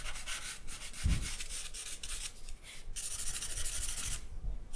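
A thin charcoal stick held in the fingers scratches and rubs across a single sheet of white drawing paper on a black backing on a wooden table while sketching. Quick, bright, papery strokes follow one another steadily, with a soft low thump near the one-second mark, leaving a continuous dry rasping texture.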